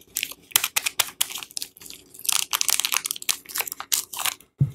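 A palm-sized solid Lux bar soap, still in its printed paper/film wrapper, is held in both hands while fingertips and long painted nails press and scratch the wrapper. Bright, crisp crinkling and crunching bursts come in quick, uneven succession, with a short silence and a duller, lower crunch at the end.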